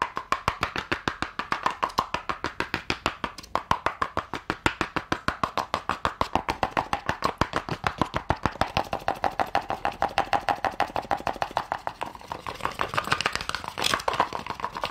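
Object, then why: Small cardboard gift box with glitter-coated lid. Long painted nails rapidly tap and scratch a small, hollow cardboard gift box whose gold glitter lid is partly lifted. A dense, steady stream of crisp, hollow clicks with a papery midrange ring, each dying away almost instantly, continues over a light scratching rustle.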